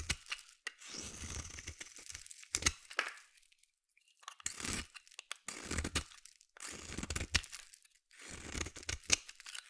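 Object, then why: Bar of soap shaved with a metal blade. A metal utility blade shaves curls off a solid green bar of soap held in the hand. Repeated crisp, bright scraping strokes come in bursts of dry crackling and tearing texture, separated by short silent pauses.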